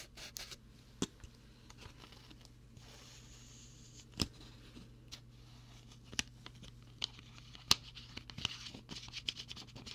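Fingertips tap and scratch the white plastic screw cap of a clear plastic water bottle that holds some water. Sharp, bright clicks and taps are scattered over a soft, dry scratching texture, with a faint steady low hum underneath.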